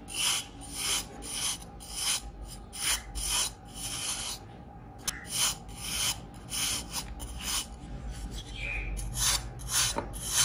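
A white ceramic knife scrapes and shaves the surface of a hand-sized pressed baking soda block, white with mint-green swirls and a crumbly powdered top, held in one hand. Repeated dry, gritty rasping strokes come at a steady, brisk pace, bright and hissy with little low end. Powder falls off the block as it is shaved.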